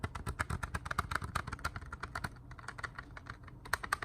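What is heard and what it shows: Plastic CD cases are tapped at an unhurried pace, giving a steady run of short, dry, clicky taps with a light tone around 1.4 kHz and a soft low thud beneath each. The taps stop instantly with no ring, making a smooth, pleasant tapping sound.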